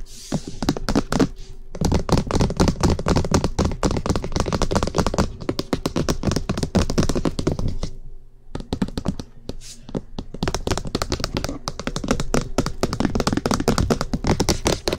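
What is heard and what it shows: Long fingernails tap and scratch fast and aggressively along the top of a cream-coloured, rectangular, hollow plastic SR3D binaural microphone body, about 20 cm long and likely 3D-printed, with silicone ear pieces at both ends. Dense, rapid dry taps with low hollow thunks and short bright scratches run almost continuously, with a brief quieter pause just after the 8-second mark.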